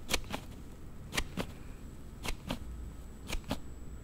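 A Note7 phone in a hard plastic sliding case is snapped open and closed with quick thumb slides. Eight sharp, bright plastic clicks come in four quick pairs over a low steady background hum, each click dying away almost instantly.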